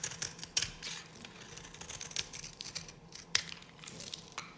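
A solid, dry yellow bar of soap, held in a hand with long nails, is shaved with a metal knife blade. The cutting and scratching produces a run of crisp, bright scraping crackles with very little low end. Two sharper snaps stand out, one early and one near the end.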